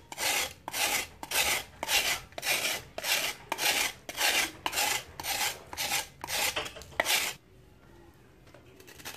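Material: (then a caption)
Sand-cement. A solid, dry sand-cement block held in hand is shaved with a metal knife blade over a plastic tub of water. It gives a steady run of bright, gritty rasping scrapes at a brisk, even pace. The scraping stops at about 7.4 seconds, leaving near silence.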